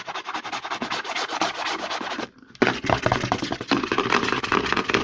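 Fingertips and short nails rapidly scratch and tap the side and front of a hollow white plastic CeraVe lotion bottle held in the hand. They make a dense, dry, bright rubbing texture with quick tapping clicks. The sound pauses briefly just after two seconds, then resumes slightly louder and continues to the end.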